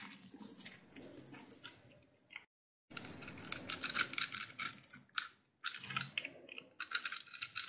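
A blade scrapes and carves the surface of a solid rectangular bar of lilac soap with pink layers, embossed with "DURU", held in one hand. The result is a bright, crisp scraping crackle of dense, quick ticks that stops briefly twice and then resumes.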